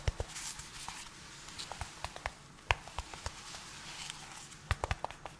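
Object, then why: Small cardboard box. Gloved fingertips tap and scratch a small, hollow, yellow-white cardboard product box held close to the microphone. Sharp, dry taps with a low, hollow thump are spaced through a soft, bright scratching rustle. Each tap stops at once with no ring.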